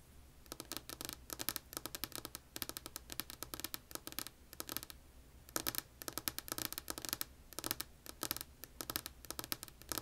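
Long polished nails tap and scratch a solid, flat, light wood-grain tabletop. Rapid clusters of bright, crisp clicks and scratchy strokes come in bursts separated by brief pauses. Each tap is dry and dies away almost instantly over a faint low hum.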